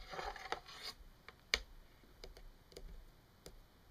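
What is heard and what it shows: Long nails tap and click along the hook and bar of a thin, solid yellow plastic clothes hanger lying on a wooden table. A brief scratchy rubbing opens the clip, followed by about six sharp, bright, dry clicks that die away almost instantly, with quiet gaps between them.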